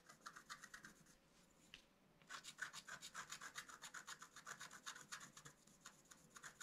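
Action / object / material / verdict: scrape / black-coated scratch-art card scratched with a wooden stylus / coated card / none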